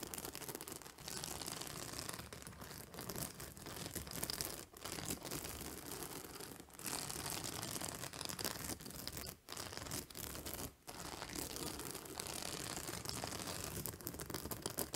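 Long nails scratch and pick at the white plastic spike discs along the edge of a purple fabric acupressure pillow. The result is a dense, steady stream of bright, crackly plastic scratching with a little low rustle underneath. It breaks off briefly a few times before continuing to the end.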